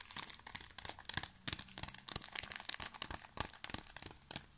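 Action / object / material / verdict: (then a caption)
scrape / thin plastic film wrapper of a pocket tissue pack / plastic film / none. A small, full pocket tissue pack in thin plastic film is held and crinkled with the fingertips. The result is quiet, dense, bright crinkling and crackling made of many sharp, short bursts that stop almost instantly, with very little low end.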